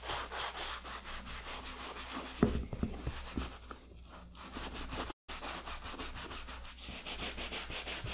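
A black and purple Jordan 8 sneaker with a leather upper and rubber sole, hollow and covered in soap foam, is wet-scrubbed with a hand-held bristle brush. Rhythmic, bright, rasping brush strokes repeat over a steady low hum, with a quieter, sparser stretch in the middle and a brief dropout near five seconds.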